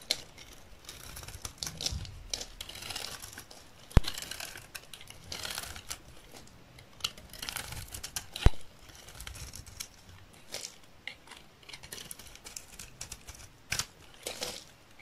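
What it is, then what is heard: Dry olive oil soap bar being shaved. A dry, solid, rectangular green olive oil soap bar held in the hand is shaved with a metal utility knife blade into thin curls. Soft, crinkly scraping strokes with brief bright hiss come in irregular bursts, broken by a few sharp clicks.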